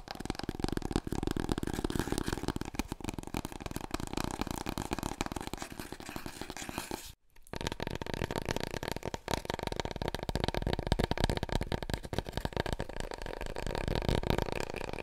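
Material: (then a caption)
Cardboard. Long nails tap and scratch quickly on a large, long, hollow, empty brown cardboard paper roll core, held horizontally and then upright. The result is a dense, continuous patter of soft, hollow taps with a deep, boomy body and dry scratching. It breaks off briefly at about 7 seconds before resuming.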